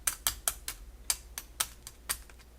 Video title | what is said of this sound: Crispy Lemon Pepper Wings Recipe | can hear how crispy they are